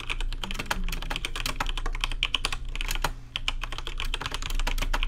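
Rapid fingertip typing on a rainbow-lit plastic RGB mechanical keyboard with plastic keycaps produces a dense run of short, bright clicks and clacks. Each keystroke dies away almost at once, over a steady low hum underneath.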